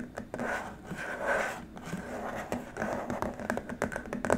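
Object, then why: Plastic keyboard wrist rest. Fingertips and short nails tap and scratch across a long, flat, rigid white plastic keyboard wrist rest. The result is a soft, continuous stream of dry scratching, with light taps poking through. It has a steady low-mid tone near 250 Hz and a hollow midrange, with little bright content.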